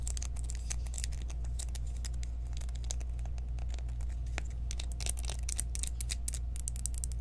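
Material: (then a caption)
Plastic. A small, round, clear plastic loose-powder jar with a sifter lid, partly filled with pale powder, is held in the hands and tapped and scratched with long acrylic nails. Quick, irregular, bright clicks and scratchy ticks patter over a steady low hum throughout.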